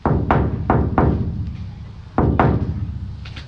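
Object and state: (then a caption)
Bare sheet-steel van side panel, undamped and ringing. Taps on the bare steel side panel of a van, which has no insulation yet, come in two quick groups. Each tap gives a low, hollow thunk that rings on and slowly fades rather than stopping dead. The undamped panel resonates far longer than the insulated side.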